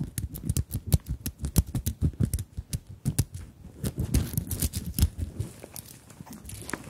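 Long nails tap and scratch a small fabric handbag covered in sequins and beads, held over the microphones. A quick run of short, dry ticks and soft low thumps with crisp bright clicks blurs into a rustling, crinkly scratch before thinning out to lighter taps at the end.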